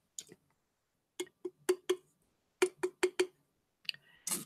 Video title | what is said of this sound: Mars Is Live ~ Fabric Christmas Ornaments ~ Appliques ~ Tutorial Demo | when I picked it up this sounds like plastic